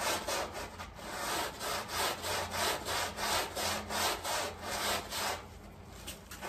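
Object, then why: Flat woven textile rug scrubbed with a stiff round brush. A long-handled round brush scrubs in lines along a small, flat, woven textile area rug that is heavily dirty, muddy and covered in soapy foam. Rhythmic, bright, hissy rasping strokes repeat about three times per second, fading quieter toward the end.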